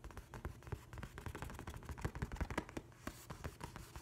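A large flat hardcover paper book with a printed nautilus cover is rubbed and scratched with an open hand and fingertips. The result is a steady stream of soft, dry scratching and brushing with many quick low thumps mixed in. The sound is mostly low and muffled, with faint bright scraping above it.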